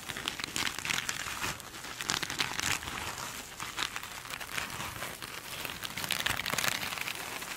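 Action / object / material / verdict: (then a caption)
scrape / glitter-coated foam sponge / foam / none. Long acrylic nails scratch a small glitter-coated foam sponge with a sparkly scrubby surface as it is held and squeezed on a table. The result is a dense, continuous crackling and crinkling scratch, bright and hissy with almost no low end, swelling and easing in small bursts throughout.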